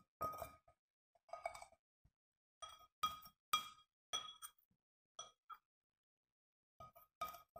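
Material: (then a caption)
Glass. A white plastic scoop scrapes and clinks against the inner wall of a small, round, clear glass fishbowl vase (a terrarium) held in one hand; the vase is hollow and nearly empty except for a few soil traces. Irregular bright clinks with a ringing tone near 1.2 kHz and high overtones die away quickly, mixed with brief gritty scrapes and separated by short silences.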